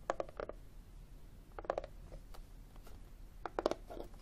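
A flat, hollow, black plastic external CD drive, first held upright and then lying on a table, is tapped and scratched with fingertips and nails. Three clusters of quick, dry plastic taps with a hollow midrange tone around 600 Hz are separated by quieter scratching.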